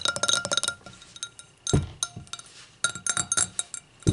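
Long acrylic nails tap and click on the thin-walled bowl and foot of an empty clear stemmed hurricane glass resting on a towel. Bursts of quick, bright clinks with short ring are heard, broken by a few heavier, duller knocks.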